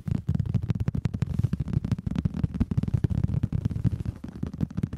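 Fingertips and palms tap and pat the surface of a large, cushioned, brown leather (or faux leather) upholstered headboard, with the recorder resting on top of it. A rapid, continuous run of soft, muffled thumps is heard, deep and low with almost no bright content, each dying away almost instantly.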